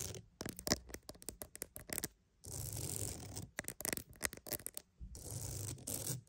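A wooden mat is tapped and scratched for ASMR. Clusters of quick, dry, short taps alternate with steady, bright scratching passes. Two rounds of tapping each give way to about a second of continuous scraping.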